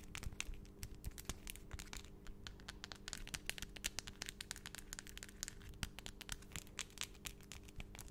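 Long, solid acrylic nail extensions are tapped against each other with both hands close to the microphone, making fast, sharp clicks with a bright edge and almost no ring. The rapid, uneven tapping runs throughout over a steady low hum.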